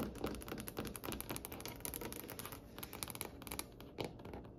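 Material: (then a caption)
Wood. Long nails of both hands tap rapidly across a glossy, varnished, solid dark wood tabletop. The taps come as a quick, uneven flurry of dry, bright clicks with almost no ring, over a faint low background. The tone sits around 426 Hz.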